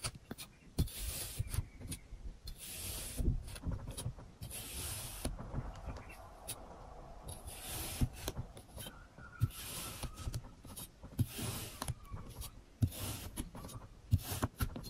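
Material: Kinetic sand.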